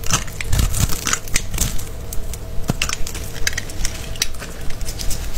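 A palm-sized, solid rectangular bar of blue-and-white striped soap, held in the hand, is scored and scraped with a small green-handled blade. Cut soap cubes crumble off onto a pile of soap shavings. The result is a fast, uneven run of short, dry crunching and crackling scrapes over a low rumble, with bright crisp edges on each cut.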